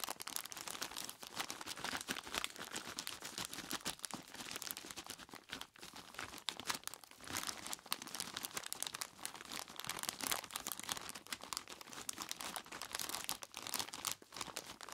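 Both hands squeeze and rub a large clear plastic bag full of ice cubes with their fingertips, crinkling the plastic and crunching the ice inside. The result is a steady, dense stream of bright, crisp crackles with almost no low end, broken only by brief quiet dips partway through.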